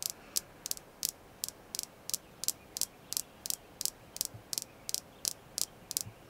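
Tapping on a red jasper crystal stone gives 19 crisp, bright ticks at a fairly steady pace of roughly one tap every 0.35 seconds. Each tap is an instant click with almost no ring, concentrated high in the treble, over a faint hiss.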